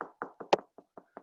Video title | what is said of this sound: CADRE Personal Preparedness for CBO Staff 072320 | there's a stud there because it's high pitched